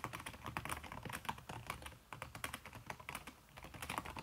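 Fingertips with long red-painted nails type fast on a backlit aluminium laptop keyboard, its plastic keys covered by a red silicone skin. The result is a rapid stream of short, soft, muffled taps and clicks with bright nail ticks, briefly easing off around two seconds and again near three and a half seconds.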